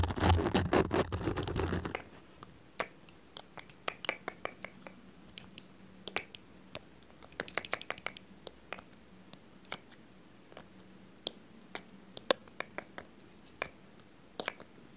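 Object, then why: Small glass perfume bottle with metal cap. Long nails tap and scratch the glass sides and metal cap of a small, dark, rectangular glass perfume bottle with a printed label, held close to the microphone. A dense burst of loud, rough scratching fills the first two seconds. It gives way to sparse, irregular, sharp clicking taps with bright high ticks that die away almost instantly over a quiet background.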